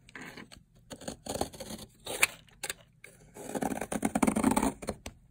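A metal blade scrapes along a long, solid teal bar of dried soap, shaving off layered flakes. Dry, crisp scraping bursts come in uneven strokes with short pauses between them. A denser, louder run of shaving fills the second half.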